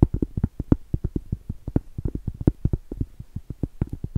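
Long stiletto acrylic nails tap and scratch the face and rim of a round solid cork trivet. About 28 quick, dull, low taps land in an uneven rhythm, each stopping dead with no ring and only faint scratchy texture between them.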